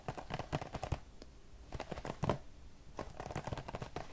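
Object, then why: Small cardboard box of cotton swabs. Fingertips tap across the front face of a hand-sized printed cardboard Q-tips box, likely hollow with cotton swabs inside. It gives quick, soft, dull taps with a hollow, low-heavy thump and almost no ring. The taps come in three clusters of rapid patter separated by brief quiet pauses.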